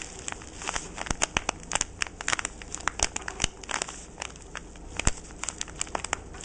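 A fingertip with a short painted nail scratches and crinkles the white crinkly paper of a small parcel, right next to its jute twine bow. The result is a dense run of sharp, bright crackles and rustles over a soft, low background hum, each crinkle dying away almost instantly.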